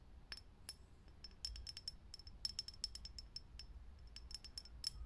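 Long nails tap quickly and unevenly on a lit, hollow, clear glass vintage filament light bulb. Each tap is a short, bright glassy click with a faint high ping that dies almost at once. A low hum sits underneath.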